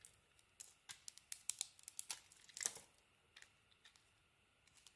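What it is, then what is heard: Bar of soap being carved. A utility knife blade carves a solid white soap bar held in the hand, slicing off chunks and flakes. Each cut is a quiet, crisp, bright crackle or scrape. The strokes come in quick uneven bursts, then thin out to a few soft flicks at the end.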